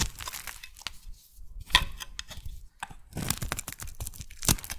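A metal blade shaves a solid oval magenta soap bar, peeling off curls. Irregular bursts of crisp scraping and crackling tear-like sounds are heard, bright with a low rumble underneath, with brief pauses between strokes and the loudest cuts near the middle and end.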